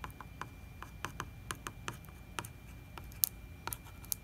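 Fingertips and nails tap and scratch the glossy plastic label and wall of a large 4 L plastic distilled-water jug that looks full. About thirteen short, dry, quiet taps click out at uneven intervals, a few of them sharper and brighter. A faint low rumble and a thin steady tone run underneath.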